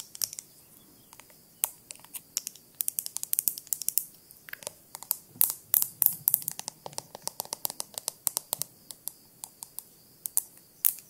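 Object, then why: Small glass jar with lid. A small clear glass jar with a lid, held in both hands, is tapped and scratched on the glass with long nails. Quick, bright clicks and taps come in an irregular stream, mixed with brief scratchy bursts. Each tap dies away almost instantly, and the sound stays quiet and thin with almost no low end.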